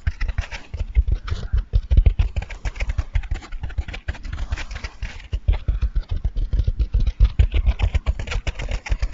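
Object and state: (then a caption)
Foam sponge, squeezed and scratched. A dry, soft, porous, hand-sized blue and white two-layer foam sponge is held in both hands and squeezed and scratched with fingertips and nails. The result is a dense, steady stream of rapid, muffled low thumps and soft crackly scratching that stays close and deep throughout, with only faint brighter rasps on top.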